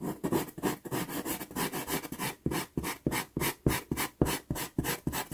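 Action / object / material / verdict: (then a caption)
scrape / wooden pastel pencil on sanded pastel card / sanded card / none. A wooden pastel pencil is rubbed and scratched along the lower part of a drawing on a small taped sheet of sanded Pastelmat pastel card. About seventeen quick, dry rasping strokes come in a loose back-and-forth rhythm, each a short broadband scratch with a soft, low body. The strokes grow more distinct and slightly louder toward the end.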